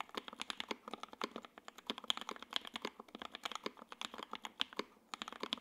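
A J-02 WKL 60% mechanical keyboard with Tangerine switches, ABS keycaps, a gray aluminum case and a carbon fiber plate is typed on continuously with the fingertips of both hands. It gives a rapid, steady stream of short, bright, crisp clacks with almost no low end and very little ring, with a brief pause near the end before the typing resumes.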